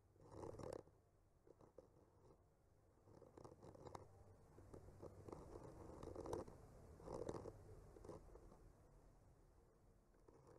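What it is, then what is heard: Painted wooden panel scraped with a skewer. A bamboo skewer slowly scratches and traces across a solid wood panel painted with trees. Soft, dry scraping strokes with a muffled midrange tone swell and fade irregularly at a quiet level, with brief louder bursts near the start and in the middle of the clip.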